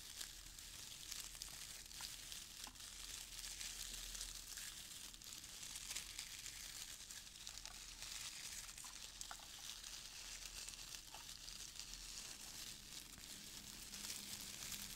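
Handfuls of brown crinkle-cut paper shred filler are lifted from a small open box while both hands squeeze and rub the loose shreds. The result is a steady, quiet, bright crinkling rustle with tiny sharp crackles scattered throughout and no clear pauses.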